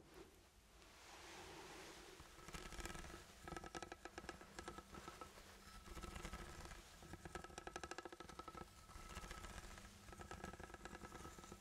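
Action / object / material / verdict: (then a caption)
scrape / ribbed steel food can / steel / none. A ribbed steel food can with a sealed pull-tab lid is held close to the microphone and tapped and scratched on its ribs with the fingertips. A soft rustling scrape builds up first, then gives way to bursts of rapid, crisp clicking taps and raspy scratching with a faint metallic ring, pausing briefly between runs.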